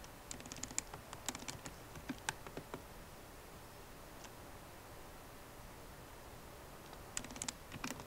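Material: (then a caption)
Plastic. Slow typing with long nails and fingertips on a MacBook Pro keyboard, with plastic keycaps set in an aluminum body, produces short, bright tapping clicks over a low, steady hiss. The taps come in a loose burst for the first few seconds, then pause with a single tap in the middle, and return in a quicker cluster near the end.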